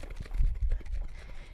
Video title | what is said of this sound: Butter Challenge– "STEM Challenge" at the San Francisco Public Library | when you hear that sloshing sound again